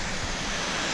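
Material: Nothing is struck.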